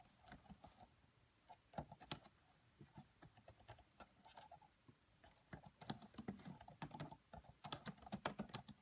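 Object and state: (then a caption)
Plastic laptop keyboard. Fingertips with medium-length nails type on the black plastic keys of a red laptop keyboard. Quiet, short clicky taps come in irregular bursts with brief pauses, each tap crisp and bright with almost no ring, and they grow busier toward the end.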